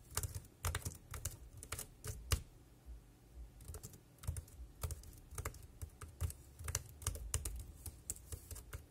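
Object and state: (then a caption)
Plastic keyboard being typed on. Fingertips type rapidly on the round keys of a dark grey plastic wireless keyboard. The result is a quick, uneven run of short clacks, each with a low thump and a bright click, with a brief lull near the middle before the typing picks up again.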